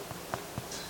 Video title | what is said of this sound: Join me in the Kitchen to make Aunt Julie's Bread //vlog | a little knock knock and it sounds hollow then you're usually set that it's good and cooked through